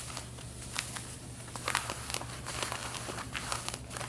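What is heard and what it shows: Long red-painted nails scratch the back pockets of light blue denim jeans being worn, making a series of dry, bright rasping strokes and crinkly scrapes. A steady low hum sits underneath the scratching throughout.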